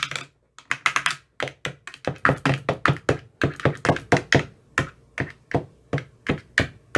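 An empty translucent frosted plastic ice cube tray with 15 hollow compartments is tapped inside its cells with a thin metal rod that has a white rounded tip. About thirty quick, hollow taps follow in an uneven rhythm with brief pauses. Each has a low thunky body and a bright clicky edge that dies away almost at once.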